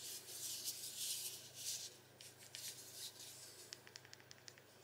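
A small, hollow, spherical Amazon Echo Dot 4 smart speaker, with blue-grey fabric mesh over the top and a smooth plastic band around the base, is held in both hands while short-nailed fingertips rub and scratch across the fabric surface and the buttons on top. Bright, hissy scratching swells in bursts for the first two seconds, then softens into lighter rubs. It ends with a run of short, sharp ticks and taps.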